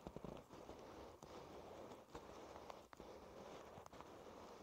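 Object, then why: Soft faux-leather pouch. Fingertips tap and rub the surface of a soft, thin, black stitched faux-leather flap pouch (BESTA) lying flat on a wooden table. A quiet, steady crackly rustle of rubbing runs throughout, with short, sharp taps standing out from it.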